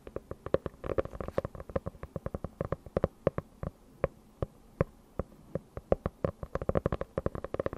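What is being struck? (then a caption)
Hardcover notebook with faux-leather cover. Long nails tap and scratch the cover of a closed, dark faux-leather hardcover notebook held close to a microphone. Around forty short, dry clicks come in quick irregular bursts and sparser single taps, with a hollow midrange knock near 540 Hz and faint scratchy rustle between them.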